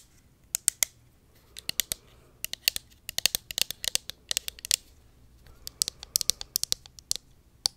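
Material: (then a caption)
Plastic. Long acrylic nails tap and scratch the sides of a small, hollow pink plastic cosmetic bottle held in hand near the mic. The result is irregular bursts of sharp, bright, high-pitched clicks that die away almost instantly, with quiet gaps between the clusters.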